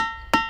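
A diabase boulder at Ringing Rocks Park in Bucks County, Pennsylvania, is struck with a hammer and gives a bell-like tone. At the start, a ringing tone with steady partials near 900 Hz, 1.3 kHz and 1.9 kHz is already fading. Then a single sharp hammer strike with a bright, broadband attack renews the ring, which decays over the rest of the clip.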